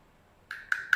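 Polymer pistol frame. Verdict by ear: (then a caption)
Tight. Three sharp knocks on the frame of a VFC HK VP9 airsoft pistol, each a short, tight tap with a bright mid-high tone around 1.5 kHz and very little ring. The solid, tight sound marks the frame as polymer rather than plain plastic, which would sound loose when knocked.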